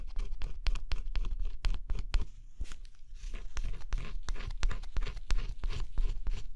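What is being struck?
Cardboard scratch-off puzzle with coated surface.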